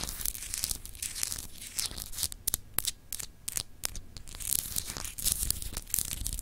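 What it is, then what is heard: Glass globe paperweight scratched with nails. Long acrylic nails scratch the etched surface of a palm-sized solid clear glass globe paperweight. The result is a dense, bright, raspy scraping with scattered sharp ticks and a low rumble underneath, and the sound dies away almost instantly between strokes.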